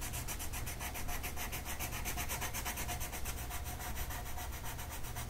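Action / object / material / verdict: scrape / colored pencil on a paper sheet / paper / none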